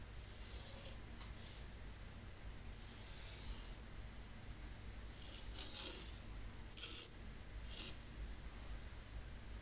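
A thin wooden stick draws the letters "PEACE" in fine white sand in a shallow rectangular wooden zen garden tray, scratching and furrowing the sand. Soft, bright, hissing scrapes come in short bursts over a steady low hum, with quiet pauses between strokes.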